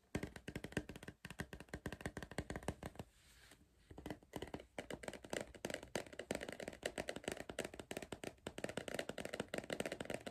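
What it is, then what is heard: Cardboard crisp tube. A hollow green cardboard Pringles tube is held in one hand while the fingertips and nails of the other hand tap rapidly on its side. The quick, dry taps have a hollow, resonant tone, with a brief quieter pause about three seconds in before the tapping resumes.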